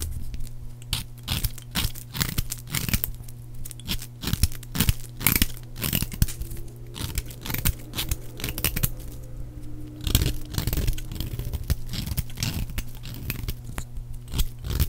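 A metal blade shaves thin curls off the faces of a solid, palm-sized bar of dry purple soap. Dense, crisp scraping and cutting strokes crackle brightly in quick succession over a steady low hum.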